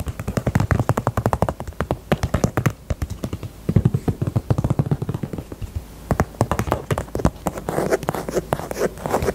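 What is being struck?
Small faux leather purse.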